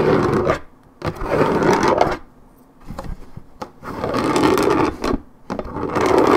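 Long red nails scratch and rub the coated paperboard of a 1.75 L Minute Maid orange juice carton in bursts separated by short quiet pauses. The result is a dry, rasping scrape concentrated in the low-mid and mid range with little deep bass.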